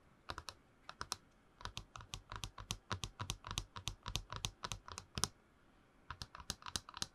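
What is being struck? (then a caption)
Tall hollow plastic tumbler. Long nails tap and scratch a tall, hollow, printed plastic movie promo cup held close to the mic. A rapid string of sharp, dry, bright clicks sounds almost like typing, each tap dying away at once, with a brief pause before the tapping resumes.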